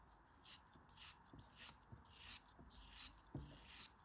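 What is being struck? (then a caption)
Kinetic sand shaved with a blade. A utility knife blade shaves thin slices off the last small piece of pink kinetic sand held in the fingertips. Eight soft, bright rasping scrapes come in short bursts, each with a faint low thump, over a quiet hiss.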